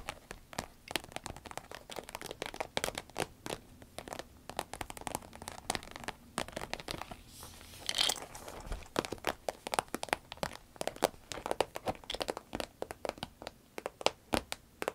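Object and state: Vinyl pencil case being scratched.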